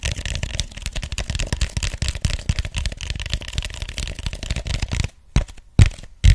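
Fingertips tap and scratch the sides of an empty, hollow white styrofoam cup held close to the mic, making a dense run of soft, dry, low, thumpy taps with light scratchy texture for about five seconds. It then goes nearly quiet, broken by a few isolated sharper taps near the end.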